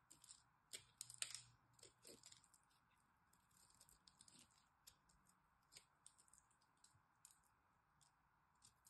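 A solid green dry soap bar held in the hand is scored and cut with a metal blade. Quiet, crisp, bright scratching and clicking strokes come in irregular bursts, each dry and short, over a faint steady mid-range hiss.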